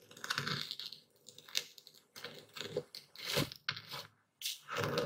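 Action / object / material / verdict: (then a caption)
scrape / coarse epsom salt crystals ground with a stone pestle in a wooden bowl / salt crystals / none. A dark speckled stone pestle grinds and crushes coarse white epsom salt crystals in a full wooden bowl steadied by one hand. Dry, bright crunching and gritty scraping come in repeated bursts with short quiet gaps between strokes.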